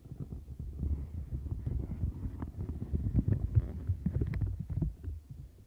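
Long nails scratch the bristles and bumps of a turquoise silicone textured scrubber mat while the other hand rests on its edge. The result is a dense, muffled, low scratching and thumping in quick, irregular strokes, with almost nothing bright above it. It grows louder in the middle and fades toward the end.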